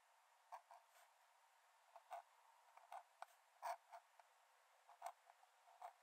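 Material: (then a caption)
Paper. A metal nib in a wooden dip-pen holder scratches lines onto the cream paper page of an open sketchbook lying flat on a dark desk while drawing. Quiet, short, scratchy strokes come in an irregular series, each a brief papery rasp centred in the mid range with a faint high hiss and no low end. The strokes die away almost instantly, leaving a soft steady background hiss between them.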